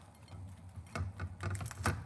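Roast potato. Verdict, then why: Crispy. A hot roast potato is broken open as a crunch test, giving a series of dry, crackling crunches from its crisp outside with soft low thumps beneath. The crisp shell cracks apart to reveal a soft, fluffy inside.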